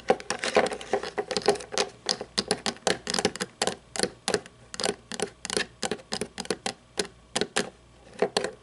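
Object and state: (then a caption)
Plastic toy truck, tapped and scratched. Long painted nails tap and scratch the chrome plastic underside and plastic wheels of a small toy monster truck turned upside down. About 35 quick, dry clicks and scrapes come in uneven bursts, with a hollow plastic tone near 490 Hz and a bright, crisp edge. Each sound dies almost at once.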